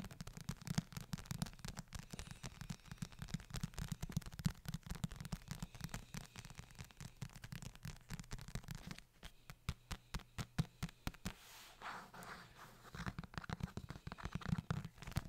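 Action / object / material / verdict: tap / leather-bound book / leather / none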